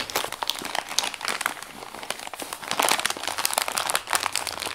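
Both hands fold, press and crinkle a partly crumpled Amazon brown kraft paper padded mailer with their fingertips. A dense, bright stream of crackling and rustling snaps, with no low rumble, runs the whole time and swells louder in the second half.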